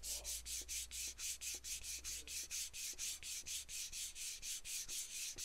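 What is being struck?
Aluminum aerosol can.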